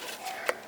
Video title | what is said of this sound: Styrofoam Box + Sand → I Never Expected THIS Many Cantaloupes! | A sound like this means the cantaloupe is ready to harvest.